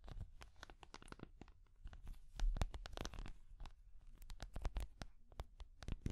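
A small translucent orange hard plastic cat figure, held in both hands, is tapped and scratched with long nails. The result is a quiet, fast run of dry clicks and scraping strokes with a low, dull body. Each sound stops almost immediately.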